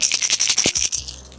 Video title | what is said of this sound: The BEST March Baits to Catch More Bass! | make the super high pitched sound like this